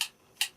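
Two sharp, bright taps on a blood clam shell while the clams are briefly heated to open, each a short high click that dies away almost at once. The clam sounds good and full rather than hollow.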